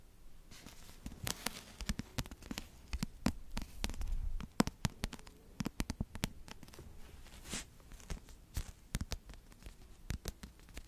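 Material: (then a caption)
Cardboard. Long yellow nails and fingertips tap and scratch the glossy cardboard cover of a pink paperback book, first held and then laid flat in front of the mic. Many short, dry clicks with bright edges sound against a soft, low rustle, and a longer scratching passage swells midway. Each tap dies away almost instantly.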